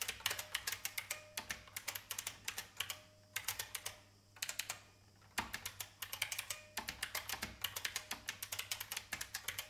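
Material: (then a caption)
Plastic. Fingertips with long painted nails type on an old beige IBM full-size plastic mechanical keyboard with a hollow case. Bursts of sharp, bright, clacky key taps come in quick runs, separated by brief pauses near the middle.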